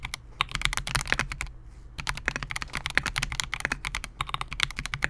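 Fingertips of both hands type continuously on a Melgeek MOJO68, a compact 68-key mechanical keyboard with Gateron G Silver Pro switches, a clear polycarbonate case and SA-profile plastic keycaps, resting on a desk mat. A rapid stream of short, crisp clacks rings bright around 2 kHz, with a soft low thud under each press and a brief pause near the middle.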